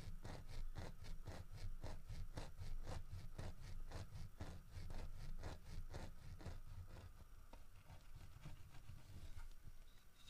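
Fingernails tap and scratch the carved head and ears of a solid carved wooden bear statue. Quick, bright clicking taps with a scratchy texture sit over a steady low rumble. The taps grow sparser and quieter toward the end.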